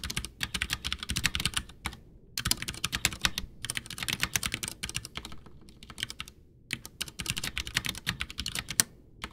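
Someone types with both hands' fingertips on a full-size white plastic mechanical keyboard, a backlit Ducky One 2 with Cherry MX Brown switches in a hollow case on a desk. Bursts of quick, bright key clicks and taps are separated by short pauses, and each keystroke dies away almost instantly.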